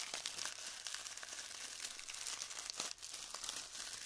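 Hands press into the surface of glued styrofoam bead clusters and crush them. This makes a steady stream of dense, bright crinkling and crackling with small snapping bits, and almost no low end.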